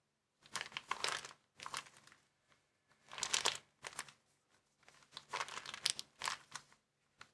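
A small, empty white plastic bag is rolled and folded in the hands while fingers crumple and crinkle it. Bright, crackly crinkling comes in irregular bursts separated by brief quiet pauses, with almost no low end.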